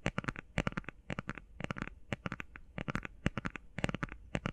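Long painted nails tap and scratch quickly on a small, flat, closed cardboard eyeshadow palette with a cream print. Short, dry clicks come in rapid clusters of three or four with brief pauses between. Each tap has a soft low thud and a bright crackly edge that stops instantly with no ring.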